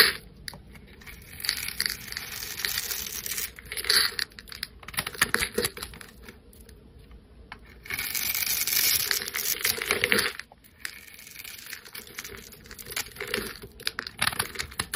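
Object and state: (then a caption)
Soap bar being scraped. A solid coral-pink soap bar held in the hand is scraped and shaved with a flat metal blade, leaving crumbly pieces falling off. The sound is a bright, dry, crackly scraping made of quick, dense strokes with brief pauses. A louder, steadier shaving stretch runs near the middle before the strokes turn lighter again.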